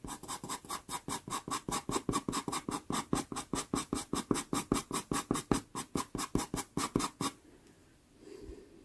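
A black pastel pencil hatches across a small taped sienna Pastelmat card in a fast, steady run of about 36 short, dry scratching strokes. Each stroke has a bright, papery rasp over a low body. After about seven seconds the strokes stop, leaving near silence and a faint, soft rustle near the end.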